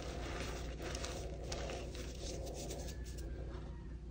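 Both chalk-covered hands, fingertips and short nails, press, rub and scrape through a large loose heap of orange-tinted crushed gym chalk (magnesium carbonate powder) and crumbs on a flat surface; no whole blocks are handled. The result is a steady, low, dense rubbing hush with soft crackly grit and faint bright scratchy flicks.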